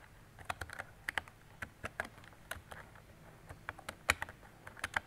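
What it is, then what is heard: Plastic mechanical keyboard being typed on. A mint-green retro plastic mechanical keyboard with round plastic keycaps and a hollow body is typed on with fingertips and long decorated nails. About sixteen short, sharp clacks come in an uneven rhythm, each bright and hollow-sounding with almost no ring. The keystrokes are quiet and crisp, with little low end.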